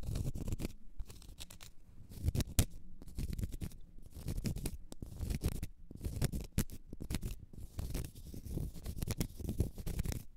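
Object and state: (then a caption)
Cork stopper. Long red nails scratch a small, solid, round cork stopper in quick bursts, making a soft, dry, rasping sound. The scratching is mostly low and muffled, with brief brighter ticks, and it comes in uneven clusters separated by short pauses.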